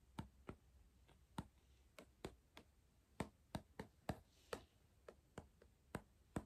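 Fingertips tap near the plastic lid and upper rim at the top of a hollow Pringles cardboard crisp tube. Sixteen short, dry, hollow taps land at an uneven pace, each with a low body and a brief bright click that dies away almost instantly. The level is quiet overall.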